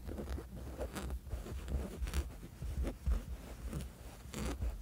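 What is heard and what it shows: Short fingernails of several fingers scratch back and forth across a soft, flat woven fabric sleep mask. The result is a close, low rustling texture with repeated soft, scratchy strokes rising and falling in loudness, each stroke carrying a faint bright edge.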